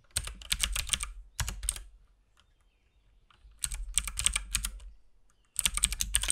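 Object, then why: Mechanical keyboard with plastic keycaps. Fingertips of both hands type steadily on a compact RGB-backlit mechanical keyboard with plastic keycaps and a hollow case. Bursts of fast, bright, clicky key presses are heard, each with a low thud beneath, separated by quiet pauses.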